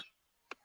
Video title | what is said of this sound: Late nights early morning open Panel | when you shake it, it does. Yeah, that rattles.